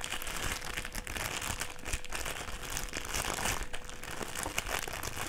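A folded strip of clear plastic sheet is held in the hands and bent and crinkled by the fingers. A dense, continuous crinkling and crackling fills the clip, bright and papery on top with a soft low rustle underneath and a faint steady tone in the background.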